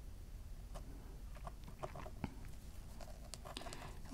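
A wooden-handled engraving stylus scratches short strokes into the gold foil layer of a flat black engraving art board, which lies on a wooden table partly covered by a white paper sheet. Soft, dry scratches and tiny ticks come at an uneven pace over a low, quiet background. The clip ends with a sudden louder low thump.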